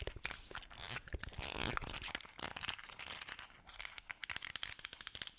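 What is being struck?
Small plastic bottle.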